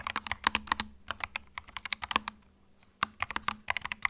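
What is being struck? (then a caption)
Plastic mechanical keyboard. Fingertips type on a small white 65% mechanical keyboard with plastic keycaps and a hollow plastic case, resting on a felt mat. Quick, bright, hollow clacks come in bursts, with a brief pause around the middle before typing resumes. A faint low hum runs underneath.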